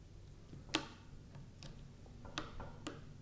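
A kitchen knife tip presses and taps into a flat, solid strip of purple slime lying on a grey felt mat, scoring it while fingers with long purple nails hold the end. Four short, sharp, bright clicks ring out over a quiet, steady low hum, each fading almost at once.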